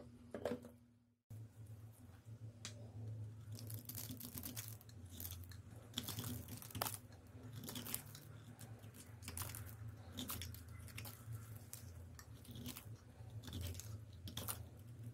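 A palm-sized rectangular bar of soap with a white outer layer and a yellow core is held in black-gloved hands and scraped and carved with a thin metal blade, shaving off curls of soap. Dry, crisp scraping and crunching strokes with bright, tearing edges repeat over a steady low hum, with a brief silence near the start.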